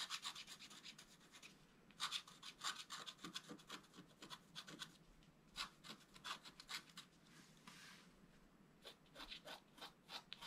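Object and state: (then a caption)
Scratch-art paper card. A wooden stylus scratches the coating of a thin, flat, black-coated scratch-art paper sheet lying on a table. Quiet, bright, dry scratching strokes come in short, repeated bursts with brief pauses between, and there is almost no low end.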